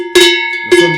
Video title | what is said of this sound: Les quatre sonnailles provençales | déjà beaucoup plus sombre qui va calmer le troupeau